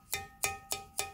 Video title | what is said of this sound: 👍집에서 만든 옹기토 수제화분 초벌구이한 색감이 자연그대로 넘 예쁜데요 | 벌써 소리도 틀려요. 구운 거는.